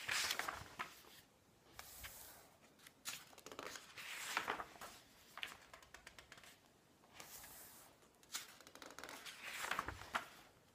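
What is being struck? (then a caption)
Glossy coated-paper magazine pages. A large open glossy magazine with thin coated-paper pages lies flat on a wooden table while fingertips and palms rub across the pages and flip them by hand. Soft, bright papery rustles and swishes come in waves, with sharp crisp snaps as pages turn and brief quiet pauses between bursts.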